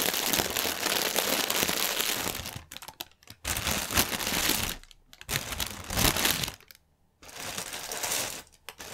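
Fingertips and nails scratch and tap the film of a strip of inflated, hollow, air-filled clear polyethylene air cushions lying on a table. Dense, bright, crackling crinkles come in several sustained bursts separated by brief quiet gaps. There is little low end and almost no ring after each touch.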